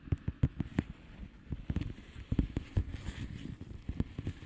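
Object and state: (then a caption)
Plastic bubble wrap mailer. Long painted nails of both hands tap and scratch the bubbles of a blue plastic bubble wrap mailer lying flat. Quick, dull, low taps come in uneven bursts over a soft, continuous scratchy rustle, each tap dying away almost instantly.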